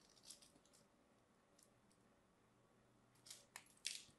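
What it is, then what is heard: Bar soap being scraped. A small craft blade scores and scrapes the face of a solid cream bar of soap, held in a hand with short dark nails, cutting it into small cubes. Quiet, bright, crisp scratching bursts come and go, ending in three louder, sharper scrapes, each dying away almost at once.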